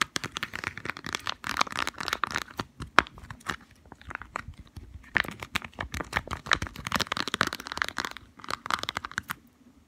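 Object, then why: Small cardboard box. A small, hollow white and green cardboard medicine box (Deep Heat arthritis relief) is held in the fingers and rapidly tapped and scratched with long fingernails. Quick, dry, papery taps blend with crinkly scratching in a dense, bright flurry that pauses briefly and then resumes.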